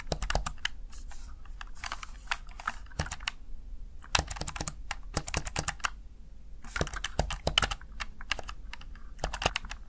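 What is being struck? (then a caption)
Plastic gaming keypad. Fingertips rapidly press the keys of a Razer Tartarus plastic backlit gaming keypad, producing bursts of short, sharp plastic taps and clicks with brief pauses between flurries. Each tap is dry and quick with almost no ring, bright clicks over a soft low thump.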